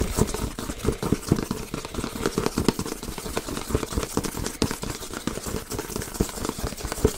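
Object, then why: Cardboard box. A medium-sized printed cardboard box for a Yeti microphone is held in the hands and scratched and tapped with fingernails. Quick, dense, dry taps mix with scratchy rustling, with a hollow low-mid thump and little high-end sparkle. The tapping stays steady and busy throughout.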